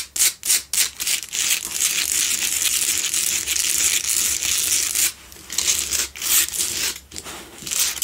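Long nails scratch the front face and edges of a lit pink Himalayan salt block double candle holder made of solid salt. The result is a bright, gritty rasping: a few quick separate strokes at first, then fast, irregular continuous scratching with brief pauses near the five- and seven-second marks.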